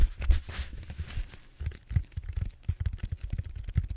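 Fingertips and short nails scratch the textured surface of a large, solid purple foam back roller held horizontally. The result is a quick, irregular run of dull, low, thumpy scratches, with a brighter hissy rasp early on before the strokes become sharper, separate bursts.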